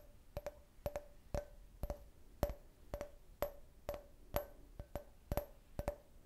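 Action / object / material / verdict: tap / can-shaped glass drinking glass / glass / none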